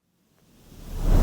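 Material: Nothing is struck.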